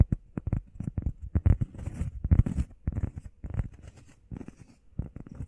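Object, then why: EVA foam pad. Long painted nails and fingertips tap and scratch fast on a flat, solid, hand-sized grey textured EVA foam workout pad shaped like a heart. The result is a quick run of soft, muffled, low thuds with almost no ring, mixed with brief scratchy rustles.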